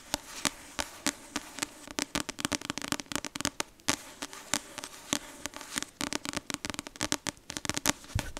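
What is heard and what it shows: Long acrylic nails keep tapping and scratching the glossy card front cover of the paperback novel "Icebreaker", which has a solid paper block. Quick, irregular bursts of sharp, bright clicks come in clusters, with a soft scratchy rustle between them. Each tap dies away almost instantly.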